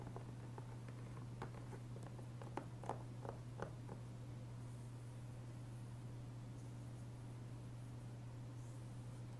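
Fingertips tap and trace the front cover of a closed, hollow, blue-tinted plastic Dragon Age II PS3 game case resting on a wooden table, making light, sharp clicks over a steady low hum. The taps fade into soft brushing and faint rustles as the case is lifted and turned over.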